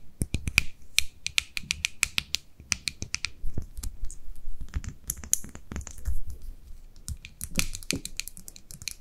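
Long nails tap the lid and body of a small white plastic cosmetic jar with a purple label as it is turned in the hands. Quick, dry clicks and taps come in irregular bursts, with a bright ring near 2.4 kHz and a soft low rumble of handling between them. Each tap dies away almost instantly.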